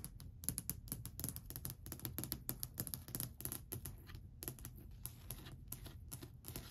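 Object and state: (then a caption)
Solid varnished wooden shelf. Long white acrylic nails tap rapidly and lightly scratch along a long, flat, solid varnished wooden shelf ledge. The result is a dense run of quick, dry clicks with a low, woody body and almost no ring. Faint scraping fills the brief gaps between taps.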